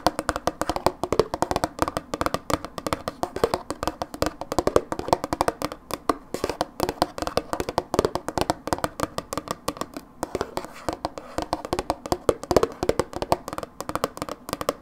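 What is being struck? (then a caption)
Plastic tub with plastic lid. Long fingernails tap rapidly and continuously on the sides and blue plastic lid of a medium-sized, hollow Philadelphia dips plastic tub. The dense stream of short, dry clicks has a hollow midrange tone around 500 Hz and almost no ring.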